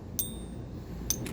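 A toned silver coin balanced on a fingertip is struck with another coin in a ping test, used to check that it is real silver by its ring. A few quick metallic taps each give a faint, high, bright ping that dies away quickly over a low background rumble.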